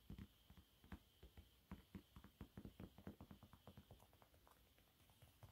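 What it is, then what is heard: Textured cleaning cloth. Fingertips and nails scratch and tap across a yellow waffle-textured cleaning cloth lying flat, brushing over its bumpy surface. The result is a quiet, uneven run of short, dull, low taps with soft scratchy rustle between them, over a faint steady high hiss.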